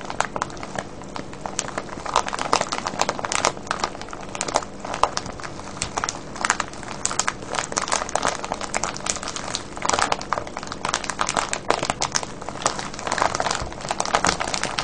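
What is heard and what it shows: Fingertips and nails squeeze and crinkle a full, clear plastic cellophane bag of wrapped candies tied with a ribbon. Dense, continuous crackling and crinkling runs for the whole clip, with quick bright snaps over a soft low background.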